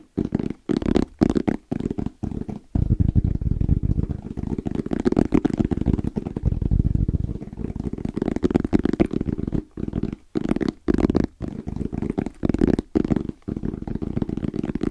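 Fingertips tap fast and rhythmically on a small, closed, hollow black zippered EVA hard-shell case with a fabric-covered shell and orange trim. The taps make a dense run of dull, muffled thuds, low and hollow with almost no brightness, broken by a few brief pauses.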